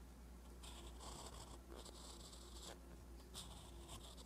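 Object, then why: Metal pen nib on notebook paper. A metal fountain pen nib scratches across a flat page of a spiral-bound paper notebook while writing. Quiet, bright scratchy strokes come in bursts over a low steady hum.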